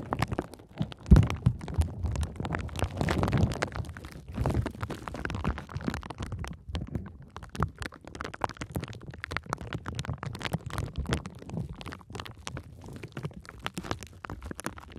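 Long nails and fingertips press and scratch a sheet of clear plastic bubble wrap with air-filled bubbles, wrapped around the microphone. The result is a dense, muffled, bass-heavy stream of rapid crackles and rubbing thumps, with a louder burst near the start that settles into steady low scratching.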